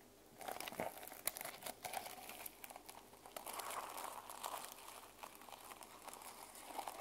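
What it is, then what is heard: Plastic sequin journal cover. Long nails scratch across the plastic sequins on the spine and cover of a small sequin-covered journal held in the hands. The result is a dense, crinkly scraping and clicking texture with bright, high hiss and quick ticks, with almost no low end.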